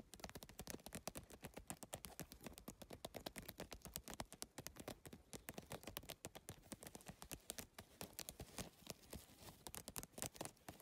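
Fingertips and long nails tap rapidly on the plastic tile surface and edge of a holographic geometric PVC-tile handbag. The result is a fast, continuous stream of short, dry clicks and taps that stop almost instantly and spread from low thumps to bright highs.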